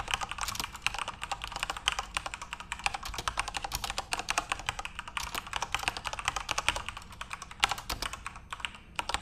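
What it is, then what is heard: Plastic mechanical keyboard being typed on. Both hands type fast with their fingertips on a full-size Corsair RGB-backlit mechanical keyboard with plastic keycaps. A rapid, steady stream of sharp, bright clacks is heard, each dying out almost instantly with very little low-end thump.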